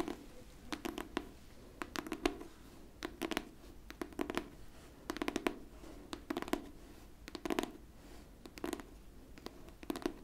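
Long pink fingernails scratch the top cover of a pink hardcover book held flat. Short, dry scratching strokes come in irregular clusters over a steady quiet hiss, each with a mid-range body and bright, crisp edges that stop almost at once.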